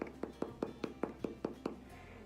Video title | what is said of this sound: The Great Beth Baking Show Episode 7 | that is the top crust so that came out nice and crunchy